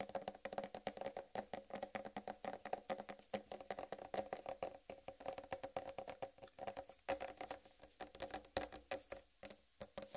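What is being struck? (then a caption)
Whole watermelon rind. Long red nails tap and patter quickly on the rind of a large, solid whole watermelon held in both hands. The result is a steady run of dozens of short, dry knocks with a hollow mid-range tone around 540 Hz that dies away almost at once, plus faint bright clicks from the nail tips.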